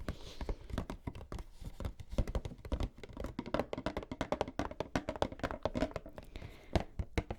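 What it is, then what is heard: Empty cardboard game box. Fingers tap rapidly and continuously on an empty cardboard collector's edition box for the Skyward Sword game, emptied because its contents were taken out. The taps are dull, hollow thunks with a low, boomy body and almost no high end or ring.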